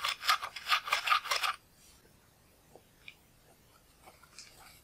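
A pointed pale bone or wooden spatula tool held in the fingers scratches and scrapes pressed eyeshadow out of the round pans of a large black plastic palette, crumbling the powder. A quick run of bright, gritty rasping strokes fills the first second and a half, then the clip falls nearly silent except for a few faint light ticks and soft scratches.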